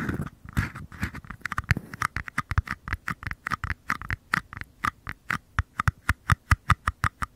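Thumbs and fingers tap and scratch two small empty white paper cups, one held in each hand with the bottoms facing the mic. A brief scratchy rustle opens the clip, then about forty quick, dry taps follow, each a hollow papery knock with a soft low thump and a boxy midrange tone. The taps settle into an evenly spaced, steady rhythm and die away instantly.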